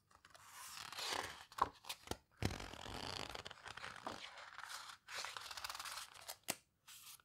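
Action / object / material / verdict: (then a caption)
scrape / paper photo book pages / paper / none. Fingertips squeeze and rub the coarse paper pages of an open paper photo book and turn them. Dry, bright rustling and scraping swells in and out, broken by sharp crisp snaps as the pages flip and pauses of near silence between.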